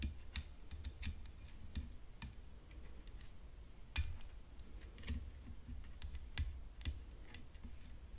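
Long fingernails tap continuously on the frame of a tennis racket, ASMR-style, making crisp, clicky taps with short, dry decays. The taps sit over a low background rumble and a faint, steady high tone.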